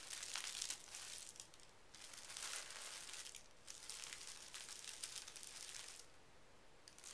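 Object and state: Tissue paper sheet.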